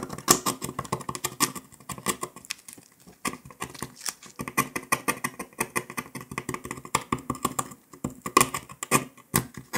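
A metal needle scratches and picks along the cut line of a brittle brown dalgona honeycomb sugar candy disc resting on paper. A rapid, uneven patter of dry, crisp ticks and short scrapes follows, with brief lulls around 3 and 8 seconds.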